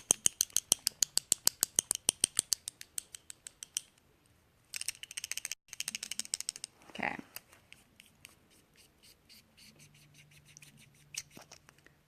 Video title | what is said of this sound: All about the lips | you want to shake it up it has a little ball in there you hear it